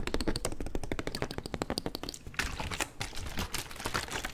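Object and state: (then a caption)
Plastic water bottle. A clear, thin, hollow plastic water bottle, held in both hands in front of the mic with its contents not clearly visible, is squeezed, crinkled and tapped with fingers and nails. Rapid, dry, clicky taps with a short, tight decay fill the first half. After about two seconds, louder, denser bursts of bright crackling crinkle take over.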